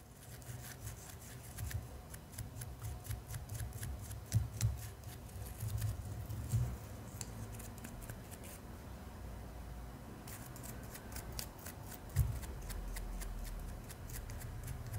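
A small, solid, clear acrylic gem held between the fingers is scratched with a black bristle spoolie brush. Quick, crisp, bristly scratching strokes with bright ticks come in bursts over a low handling rumble, easing into a quieter stretch midway before the scratching picks up again.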